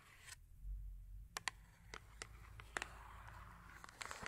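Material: Cardboard.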